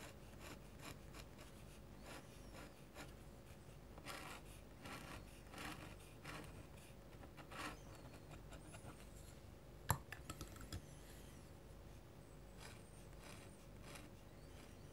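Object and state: Metal pen nib scratching paper.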